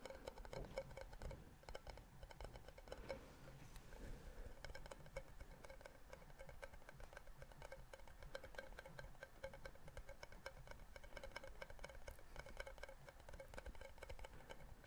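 A clear plastic jar with some contents inside and a red plastic screw lid is held in one hand and tapped on the lid with the fingertips and nails. It makes a quiet, steady stream of rapid, light clicking taps with a hollow plastic tone around 535 Hz. Each tap dies away almost at once.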